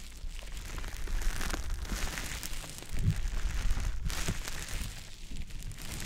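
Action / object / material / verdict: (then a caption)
scrape / konjac sponge puff / konjac sponge / none. A small green teardrop-shaped konjac puff, soft, porous and damp, is held in the fingers and rubbed over the silicone ear of a dummy-head microphone. It makes a continuous wet squishing and crinkling rub with a heavy low rumble and faint bright crackles, growing louder in the middle stretch before easing off.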